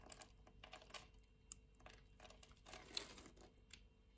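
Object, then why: Bar of soap scraped with a knife blade. A green-handled utility-knife blade scrapes a solid orange translucent soap bar, shaving off flakes that fall away. The sound is a quiet run of crisp, bright scratching and crackling bursts, with a slightly louder crunch near the end.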